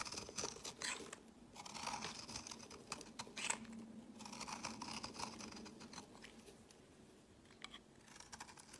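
A utility knife blade shaves flakes from the edge of a solid, translucent orange oval bar of soap held in the hand. Quiet, dense, bright scraping and crisp rasping strokes come in bursts, with a faint steady low hum underneath.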